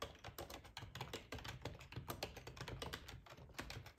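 Fingertips of both hands type steadily on a black, full-size plastic ergonomic split keyboard resting on a cloth tablecloth. A fast, continuous stream of short, clicky key taps rises and falls, each with a soft low thud and a bright, crisp edge that dies away almost instantly.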